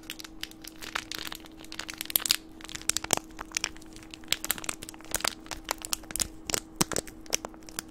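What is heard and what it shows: A green plastic candy wrapper is held between the fingertips and squeezed and crinkled close to the microphone. It makes a dense run of sharp, bright crackles and crinkles with quick snapping peaks over a faint steady low hum.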